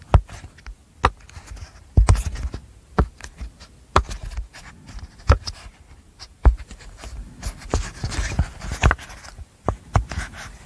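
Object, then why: Silicone pop-it fidget toy. Long nails and fingertips press, pop and tap the hollow bubbles of a flat, rainbow apple-shaped silicone pop-it fidget toy held close to the mic. Sharp, dry pops and clicks with a low, muffled thump land at an irregular pace. Softer scratchy taps and rustles fill the gaps between them.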